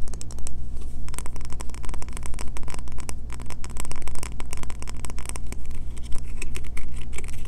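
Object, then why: Solid bar of soap. A solid green bar of soap with embossed lettering, unwrapped and held in the hands, is rapidly scratched and tapped with long fingernails. Dense, crisp scratching and tapping clicks run throughout over a steady low hum.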